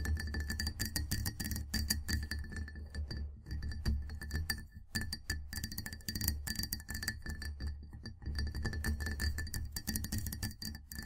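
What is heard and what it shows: Fingers with long black-painted nails on both hands tap and clink rapidly on the sides of a medium-sized clear glass mug with a handle, full of amber tea with a tea bag tag hanging over the side, sitting on a white table in front of the microphone. The dense, quick taps carry a soft low thump under short, bright glassy clinks, with faint steady ringing tones that hold through the clip.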